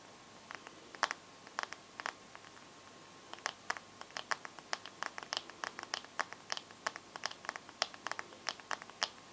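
Long gold nails tap and scratch the glass screen of a bare teal Samsung phone held up with the screen facing out. The result is a quiet string of short, dry, bright clicks with tiny scratches between them, in an irregular rhythm that grows denser after a sparse start.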